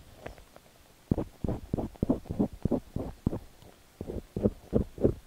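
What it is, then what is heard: Ear pick scraping a silicone ear microphone. A thin metal ear pick with a white handle scrapes inside the ear canal of a cream silicone dummy-ear microphone while the other hand holds the ear. After a quiet start, close, muffled scratching strokes come in rapid, uneven bursts that sit low and rumbly with no bright high end.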